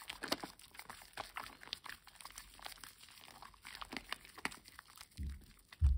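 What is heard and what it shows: A solid rectangular green bar of household soap, wet and heavily lathered, is turned and rubbed between bare hands over a basin of foamy water. Dense, crackly wet squelching and bubbly crinkling of lather run throughout, with a duller low thump near the end.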